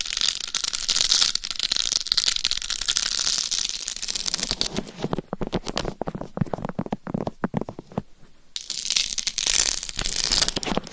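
Long nails scratch across a life-size hollow mannequin head binaural microphone covered in rhinestones, first over the face and then the top and upper sides of the head. A dense, bright, crinkly scratching fills the opening seconds, then breaks into sparser sharp clicks and scrapes in the middle before the steady high hiss of scratching returns at the end.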